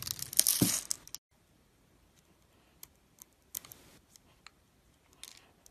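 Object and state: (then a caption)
Glycerin soap bar being cut. A metal blade cuts grid lines into a palm-sized, solid, translucent green glycerin soap bar held in the hand and slices small cubes off it. A loud, bright, crackling scrape opens the clip, then stops abruptly. Quiet gaps follow, broken by scattered short, crisp cutting snaps.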